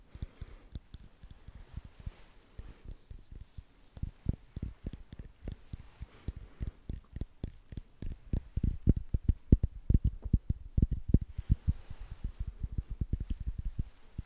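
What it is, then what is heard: Glass drink bottle. A small Starbucks Frappuccino glass bottle, full of drink, with a paper label and metal cap, is held in the hands and tapped with fingertips and short nails. Rapid, irregular soft taps sound dull and low, with almost no ring, and grow louder through the middle before easing off.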